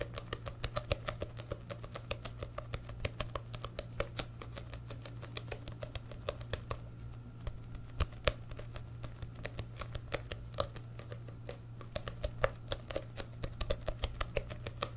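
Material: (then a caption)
Paper. A medium orange and yellow paperback book, a solid stack of paper, is held open in front of the mic and tapped on its pages and cover with fingertips and short nails. Rapid, dry, crisp ticks with almost no ring come in a steady stream over a constant low hum, thinning briefly in the middle before resuming.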